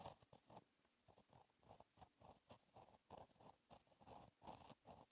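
A fine gel pen tip writes cursive on the same flat black lined paper notebook page. Quiet, dry scratching comes in short strokes with brief pauses between words. The tone sits in the low-mid range with a light, bright hiss on top.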